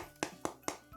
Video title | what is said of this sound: MASSA TEMPERADA! ENROLADINHO DE SALSICHA COM QUEIJO EM APENAS 30 MINUTOS! FÁCIL E DELICIOSO! | Quando eles estão congelados, eles ficam assim, com esse som de pedra.